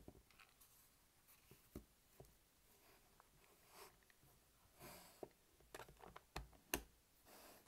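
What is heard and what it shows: A hollow, black hard-plastic weekly pill organizer starts open, then lies closed and flat on a table while short-nailed fingertips tap its lid. The result is quiet, irregular, sharp clicking taps with almost no ring, separated by soft brushing sounds.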